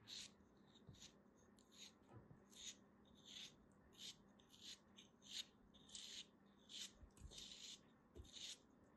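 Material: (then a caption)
Sand. A small, solid piece of beige kinetic sand is held between fingers with long dark nails and sliced and scraped with a small black knife. Quiet, bright, crisp scraping strokes repeat at an uneven pace, each short and dry with almost no ring, over a low, steady hiss.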